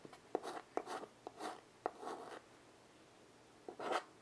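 A small wood-framed chalkboard rests on carpet while a child draws on it with white chalk in steady strokes. Each stroke opens with a sharp tap followed by a dry, bright scratching rasp. About eight strokes come in quick succession, then a pause of over a second before a final stroke.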